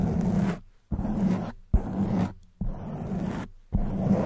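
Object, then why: Foam microphone windscreen. Long white nails scratch a black foam microphone windscreen with alternating hands, making five separate bursts of dense, rumbling scratching with brief silences between them. The sound is mostly low and muffled, with a soft crackly texture and little bright content.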